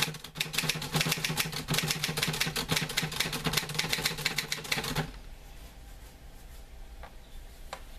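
Fingertips type on the keys of a green-grey metal portable manual typewriter with paper loaded, producing a rapid run of bright, sharp clacks over a low hum for about five seconds. The typing then stops, leaving a quiet background broken by two faint clicks near the end.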